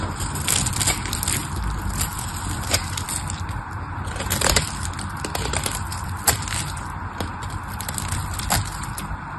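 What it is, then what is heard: Soap bar being shaved. A solid, palm-sized pink bar of soap is held in the hand and shaved with a small knife blade, peeling off curls and chips. A steady, dry scraping runs throughout, dotted with crisp, bright crackles and snaps as pieces break away, over a low, rumbling bed.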